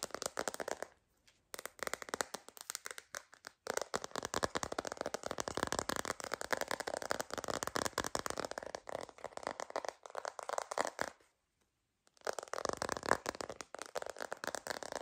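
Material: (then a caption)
Plastic. Long green nails tap rapidly on a hollow, clear plastic phone case filled with liquid and pink and silver glitter. The sound is a dense stream of sharp, dry plastic clicks with a crackly, mid-to-bright tone and almost no low end. The tapping comes in bursts, with short silent pauses around one, three and a half, and eleven seconds.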